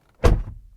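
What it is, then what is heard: Solid-sounding truck door closing. A Hummer EV electric pickup truck door is closed from the inside, producing a single deep, heavy thunk. The low thud decays quickly with a brief low rumble, and the door sounds solid.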